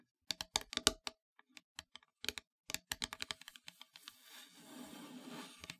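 Long grey nails tap quickly on the flat face of a solid black-painted wooden heart board, about 1 cm thick, lying on a fabric surface. The taps are short, dry and bright, with almost no ring, and they come in uneven bursts. Toward the end they give way to a steady, hissy scratching texture before a last couple of taps.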